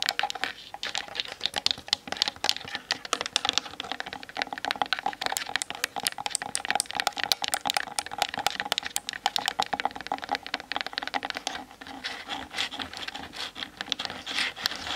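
Long nails rapidly tap and scratch the sides of the hollow plastic body of a Canon DSLR standing on a tripod, picked up by the camera's built-in mic. Fast, dense, bright clicks and light scraping run steadily throughout, with very short decay and no low-end weight.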